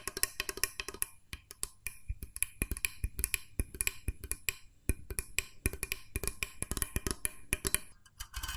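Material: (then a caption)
Plastic. A small, hollow, cream-coloured plastic mooncake press mold, held sideways, has its plunger disc and body tapped with fingertips and nails. The result is a rapid, irregular run of dry, hollow clicks and knocks with bright edges and almost no ring.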